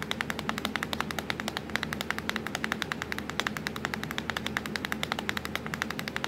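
Long acrylic nails tap fast on the black plastic keys of a laptop keyboard, making a rapid, steady stream of short, bright clicks. Each tap dies away almost instantly over a faint, constant low hum.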